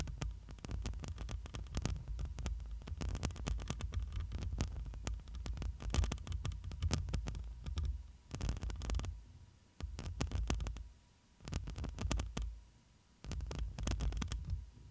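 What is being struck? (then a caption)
Metal mesh microphone grille. Long pointed nails of both hands continuously scratch and tap the black metal mesh grille of a hollow studio microphone. The result is a dense, boomy low-end throbbing around 74 Hz, broken by sharp bright crackling scrapes. The sound comes in uneven bursts with a few brief quieter dips.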